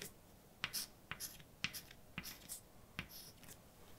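A hand writes words in white chalk on a large, flat, dark blackboard. Sharp, clicky chalk taps for punctuation alternate with short, bright scratching strokes. The sound is quiet and crisp, with no ringing after each tap.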